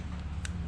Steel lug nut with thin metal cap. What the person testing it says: As you can hear, it's hollow